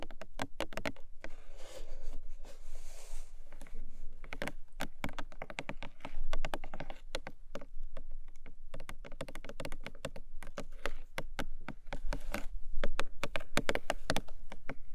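Long nails tap and scratch the top of a long, narrow, hollow printed cardboard gift box, making a steady stream of quick, dry, clicky taps that die away almost instantly. A soft, bright scratching hiss comes through around the second and third seconds, and the hollow box gives the taps a low, boomy body.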